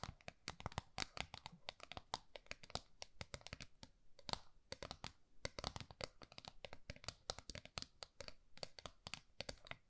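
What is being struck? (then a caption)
Small round metal tin. Long nails scratch and tap rapidly on the flat face of a small round gold metal tin held in both hands. The result is a dense, quiet stream of short, bright clicking taps mixed with crisp scratching, with each tap dying away almost instantly.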